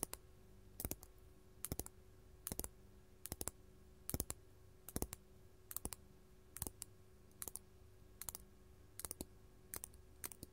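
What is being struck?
Faceted glass crystal gem.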